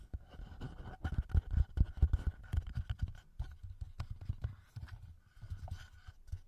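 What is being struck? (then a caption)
Plastic handheld audio recorder with metal mic capsules. Fingertips and short nails rapidly tap and scratch the metal mic capsules and top housing of a small black plastic TASCAM handheld audio recorder. The result is a quick, irregular patter of dull, boomy low thumps picked up close to the mics, laced with faint scratchy rustles and occasional brighter clicks.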